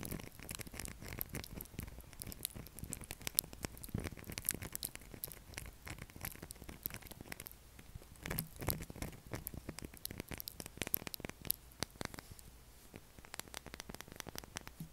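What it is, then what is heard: Bar soap. Fingernails scratch across a pale blue solid bar of soap whose surface is scored into a grid pattern. The result is a steady, quiet stream of dry, crackly scratches and tiny clicks, bright and crisp with almost no ring, continuing throughout the clip.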